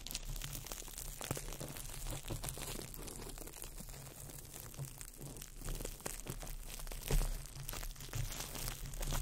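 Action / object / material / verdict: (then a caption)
scrape / crumpled clear plastic wrap / plastic film / none. A small ball of crumpled clear plastic wrap is crinkled by fingertips right over the microphone. It makes a dense, continuous crackle of fine snaps and rustles with bright high edges over a steady low rumble. One louder crunch stands out near the seven-second mark.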